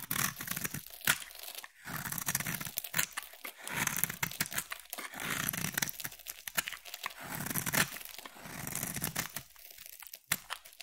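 A palm-sized solid blue bar of soap is held in one hand and carved with a utility-knife blade in shaving strokes, with curls of soap falling away. Each stroke gives a dry, bright scraping crackle, like tearing, in quick bursts separated by brief pauses.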